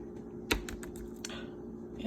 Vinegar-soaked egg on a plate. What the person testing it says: it bounces it's kind of like a rubber